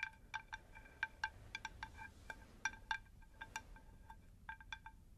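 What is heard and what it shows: A round, shallow, rigid unglazed terracotta plant saucer, held in both hands, is tapped with long nails in a quick, irregular run of clicky taps. Each tap rings briefly with a clear, bell-like pitch of around 1.6 kHz and brighter overtones above it, over a faint low background hiss.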